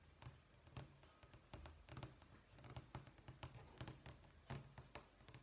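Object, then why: Stack of vinyl flooring samples. Fingertips and short nails tap and scratch across the textured top sheet of a vinyl flooring sample book, a thick, solid, layered stack of flat sample sheets lying on a wooden table, with a printed terracotta tile pattern and grout lines. The sheet looks like vinyl, though it could be laminate. A quick, irregular run of soft, dull taps with a low, thuddy body is heard, with brief bright clicks and faint scratching along the grout lines, each tap dying away quickly.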